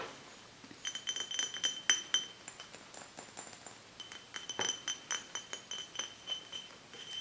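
An empty glass swing-top bottle with a black label, lying on a book, is tapped and scratched with long nails and fingertips. A quick, uneven run of light, bright clinks carries a short high ring near 3 kHz, with soft scratchy rustles between the taps.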